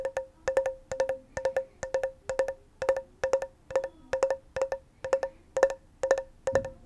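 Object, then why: Small closed metal tin. Long nails tap on the lid and sides of a small, closed, hollow round metal tin with a pink and green label, held near the mic. The taps come in quick clusters of two or three, about fifteen bursts in all. Each is a short, bright knock with a clear tone around 540 Hz that dies away almost at once.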